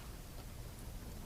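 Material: Nothing is struck.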